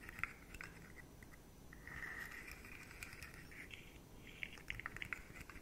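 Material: Plastic.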